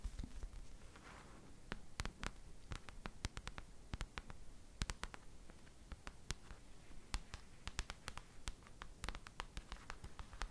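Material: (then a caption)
Paper. Long nails tap and scratch on the paper cover of a paperback book held upright and solid. Dozens of quick, dry, bright clicks come in irregular bursts over a soft scratching texture and a faint low rumble, each tap dying away almost at once.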